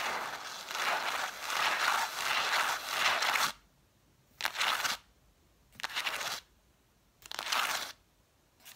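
Long nails scratch and tap along the cloth-covered spines of a solid stack of red vintage hardcover books, set spines forward. A continuous dry, bright scratching rasp runs for about three and a half seconds, then breaks into three separate short bursts of scratching with quiet gaps between them, and a fourth burst begins as the clip ends.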